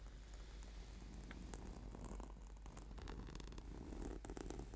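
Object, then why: Foam yoga mat. Fingertips and nails scratch and tap a flat, purple, sticky PVC/foam yoga mat. The result is a quiet, steady, low rumbling rub broken by soft crackly scrapes and short dull taps.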